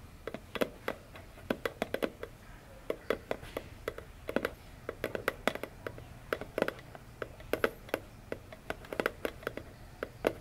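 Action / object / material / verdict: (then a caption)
tap / small cardboard box / cardboard / none. Long fingernails tap on the top of a small, hollow, orange printed cardboard phone box lying on a table. Dozens of quick, dry, hollow clicks fall in an irregular rhythm, each with a papery midrange knock and a bright tick that dies away almost instantly. The taps are quiet against a faint low background hum.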